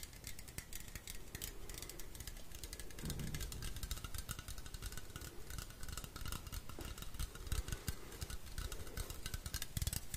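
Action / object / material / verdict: tap / metal aerosol spray can / metal / none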